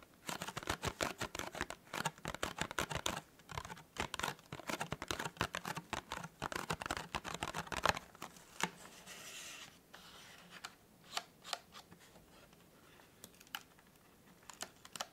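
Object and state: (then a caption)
Cardboard gift box. Fingertips rapidly tap the top of a small, hollow, white printed cardboard tea gift box, making dense, crisp, dry clicks for about eight seconds. The fingers then fiddle with the box's folded flaps, giving a softer papery rustle broken by occasional sharp snaps.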